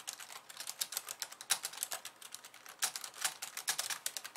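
Long painted nails of both hands type quickly on a pink low-profile plastic computer keyboard with white keys resting on a wooden desk. The result is a dense, steady stream of bright, dry clicks and taps with almost no low end, each dying away almost instantly.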